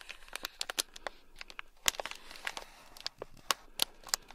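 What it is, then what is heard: Plastic bag of small beads. A thin black stick scratches across a small, sealed, clear plastic bag packed full of tiny gold beads. It makes a quick run of bright, crinkly scratches and sharp clicks that stop almost instantly, with almost no low end, over a faint hiss.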